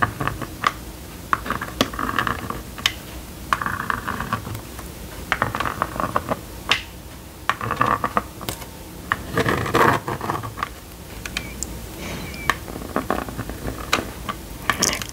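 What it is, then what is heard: Plastic magnetic drawing board. A plastic stylus scratches and taps short strokes across the screen of a small red and yellow plastic magnetic drawing board, drawing a shape. Dry, brief scratching bursts with a mid-range hiss around 1 kHz alternate with sharp, bright clicks over a faint background noise.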